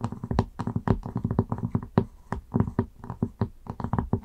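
Long acrylic nails tap quickly on a round wooden lid resting on a candle jar. They make a fast, uneven run of dry, hollow clicks with a low, woody body and almost no ring. The taps come in quick bursts with brief pauses between them.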